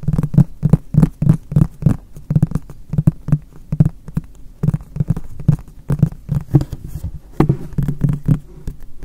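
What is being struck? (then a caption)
Polypropylene plastic storage box. Fingertips tap and lightly rub the flat face of a hollow, apparently empty frosted white MUJI polypropylene storage box held behind the recorder. A quick, uneven series of soft, dull taps gives low, hollow thumps that die away almost instantly, with faint brushing between them.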